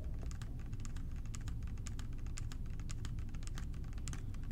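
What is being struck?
Plastic cleaner bottle partly filled with liquid.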